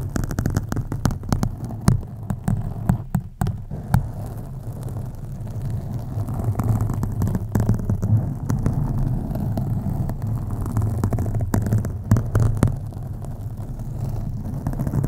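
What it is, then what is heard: Foam microphone windscreen scratched. Long acrylic nails on both hands scratch a black foam windscreen on a USB microphone. The result is a steady, deep rumbling throb with a low hum, broken by many quick, sharper scratchy bursts.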